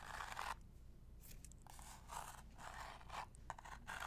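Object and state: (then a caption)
Cardboard box. Long nails tap and scratch a small, hollow, printed cardboard medicine box held in both hands. Soft, dry scraping bursts with a papery crunch come and go, separated by brief near-silent pauses. The sound stays quiet and close.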